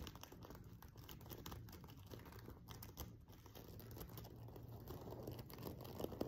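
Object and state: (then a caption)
Sequin-covered fabric pillow. Fingertips and nails rapidly scratch the rows of a silver sequin cushion, a sequin-covered fabric pillow. The result is a quiet, steady stream of dense crinkly scratching and tiny dry clicks, weighted toward the low end and growing slightly louder near the end.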